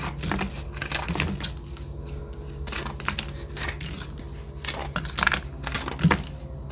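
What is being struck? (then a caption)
Gym chalk block. Metal scissor blades scrape and cut into a hand-sized, solid white block of reformed gym chalk (magnesium carbonate) held in one hand, crumbling chunks off onto a yellow surface. Dry, gritty scraping and crunching crackles come in quick bursts over a steady low hum, with brief bright crumbling spikes near the end.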